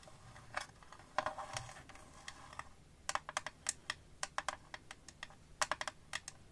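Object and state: Clear phone case tapped with fingernails.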